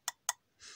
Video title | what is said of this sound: ToyBiz Marvel Legends Series VI Mr. Fantastic - A Chewy Mew Review! | it's just a hollow plastic like you can hear